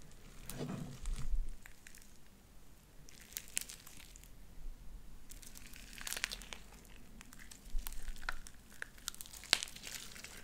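Light-blue sticky slime with white beads is pulled between two hands into sticky strings, then squished in the fingers. The sound is a soft, steady crackling and crinkling, with bright, sharp pops and clicks scattered through it over a low rumble.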